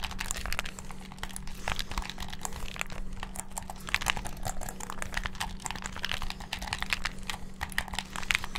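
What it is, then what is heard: Plastic game controller. A hand-sized, hollow black plastic gamepad is held in both hands above the mic while fingertips and thumbs rapidly press its buttons and triggers. The result is a dense, continuous stream of short, sharp plastic clicks and clacks with bright, crinkly tops, over a steady low hum.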